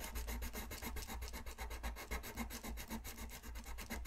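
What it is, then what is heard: Colored pencil shading on paper. A colored pencil rubs back and forth across a thin white paper coloring sheet lying flat on a desk in repeated shading strokes. It makes a soft, steady, raspy scratching with a quick rhythmic pulse, a low papery rumble underneath, and a light, bright hiss on top.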